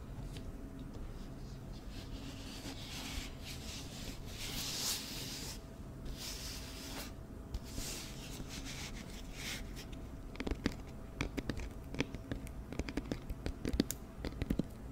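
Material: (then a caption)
Cardboard. An empty, hollow, medium-size round white cardboard hat-style flower box is held in the hands and tapped with long nails and fingertips. The first ten seconds are soft, scratchy rubbing and brushing with bright bursts over a steady low hum, and then quick, sharp, clicky taps take over until the end.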